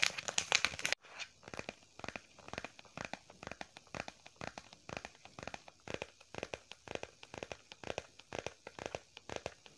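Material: Faux leather.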